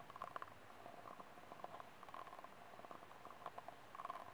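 Fingernails scratch across the ribs of a small, empty, ribbed white disposable plastic cup and tap its hollow wall. The result is a quiet, dry run of clicky scratches and light taps with a hollow tone around 1 kHz, each dying away almost instantly.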